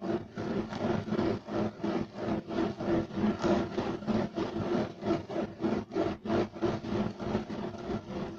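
A beige striped loop-weave woven fiber carpet is scratched aggressively with the fingernails of both hands. The sound is a fast, steady run of rough, rasping scrapes, about three strokes per second, swelling and fading with each stroke over a low-mid tone.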